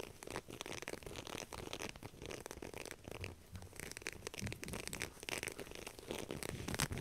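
A black knit fabric heat-resistant glove, soft and flexible and covered in pink silicone grip dots, is scratched and rubbed by long nails while it is handled. The result is a dense run of quick, dry scratching and crinkly rubbing strokes spread across low and bright bands, with no ringing tail.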